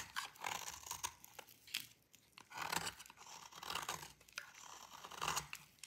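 A metal utility blade scrapes a thin, solid piece of dry green bar soap, making crisp, bright, crunchy scraping strokes in repeated bursts. Fine shavings fall off as the blade rasps across the hard surface, with short dry crackles between the louder passes.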